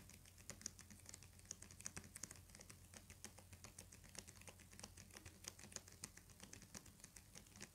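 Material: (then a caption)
Paper. Fingernails tap rapidly on the cover of a thick hardcover book with a paper jacket. The result is a dense, uneven patter of quiet, sharp, bright clicks that die away instantly, over a faint steady low hum.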